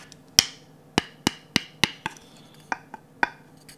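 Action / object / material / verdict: tap / varnished wooden ladle / wood / none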